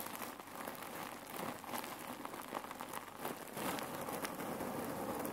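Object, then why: Cotton pillow filled with cherry pits. Long nails tap and scratch the cotton fabric of a folded red neck warmer pillow filled with cherry pits. The result is a steady, quiet, dry rustling crackle with faint clicks as the pits shift underneath, similar to light rain on a surface.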